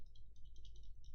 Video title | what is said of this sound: Build of the rba section and review of the smoant pasito. But is it any good? | a little bit of a rattle when you shake it